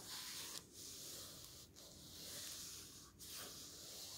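A palm and fingertips rub and smooth the glossy photo pages of a thick open hardcover book resting on a table, then turn one page. The sound is a soft, steady, bright paper hiss with a few brief pauses in the stroking, and the page turn adds a light papery swish.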